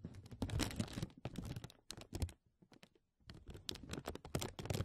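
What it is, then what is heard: Plastic bag crinkling. Fingertips and nails scratch and crinkle a thin, clear, embossed plastic vacuum-seal bag stretched over a mesh mic dome. The result is dense, bursty crackling and rustling with a strong low-end thump, and a brief near-silent pause just after the middle. The texture is quiet and close.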